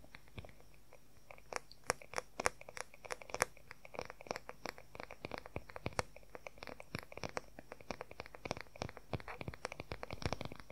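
Fingernails tap rapidly and scratch on the oval wooden back of a wooden paddle hair brush. The result is a fast, irregular stream of short, dry, bright clicks with a faint scratchy texture over a quiet, steady background hiss.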